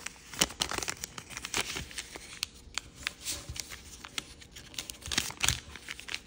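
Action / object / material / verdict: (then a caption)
scrape / thin origami paper sheet / paper / none. Fingertips fold and crease a small, thin grey paisley origami paper sheet with a red back, producing dense, bright crinkling with many sharp crackles and quick snaps throughout. The sound is high and papery with almost no low end, and each crackle stops short with no ring.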